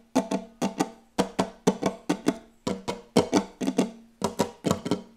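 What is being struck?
Wooden tabletop.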